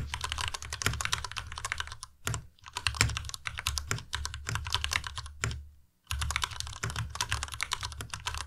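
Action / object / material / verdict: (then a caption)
tap / plastic mechanical keyboard / plastic / none. A white tenkeyless Ducky Miya Pro mechanical keyboard with Cherry MX Red switches, plastic keycaps and RGB backlight, resting on a desk mat, is typed on fast with the fingertips of both hands. Rapid, dense clacking keystrokes with bright clicks and a low thock run continuously. There are brief pauses near 2 and 6 seconds.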